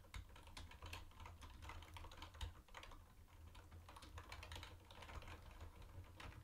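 Both hands type fast with their fingertips on a mint-green plastic retro keyboard with round white plastic keycaps. A steady stream of quick, overlapping clicky taps runs throughout, over a constant low hum.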